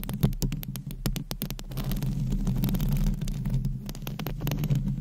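Long acrylic nails scratch across the hollow metal mesh grille of a microphone. Rapid, closely spaced scratching clicks sit over a deep, throbbing low rumble that dominates the sound.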